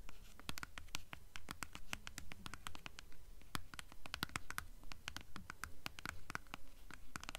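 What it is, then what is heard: Hardcover book with paper dust jacket. A blue hardcover book in a paper dust jacket is turned from its front cover to its spine while long nails scratch across the jacket. A rapid, uneven stream of short, dry scratches and ticks, a little over two per second, plays over a steady low rumble, with brief bright crisp tips on each stroke and almost no ring.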